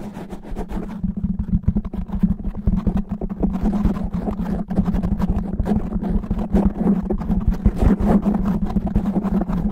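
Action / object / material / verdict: scrape / foam microphone windscreen / foam / none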